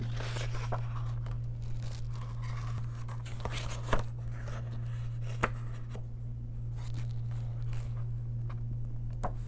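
Long nails turn a single paper page of an open paper coloring book and trace along its surface. Soft, papery rustling and dry scratching continue throughout, broken by a few brief, crisp ticks. A steady low hum sits underneath.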